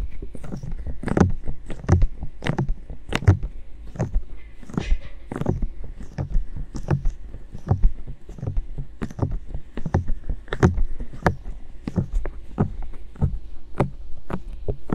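Both hands cup the hollow white silicone ears of a binaural microphone and slowly rub them with the fingers, long nails touching the surface. A steady stream of soft, muffled low thumps and scratchy rubbing is heard, broken by short, sharp bright clicks that die away almost instantly.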